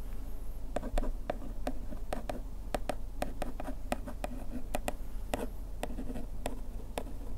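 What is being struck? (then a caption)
Printed paperboard box scratched with a bamboo ear pick. A bamboo ear pick scratches along the printed size text on the panel of a paperboard bandage box, seen up close. It makes a steady run of short, dry scratching strokes over a low, constant rumble, and each stroke fades quickly.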